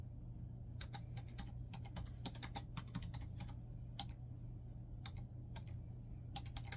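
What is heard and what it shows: Fingertips type rapidly on a black plastic laptop keyboard, producing quick, bright plastic key clicks that come in bursts and short pauses. A steady low hum sits underneath the whole time at a quiet level.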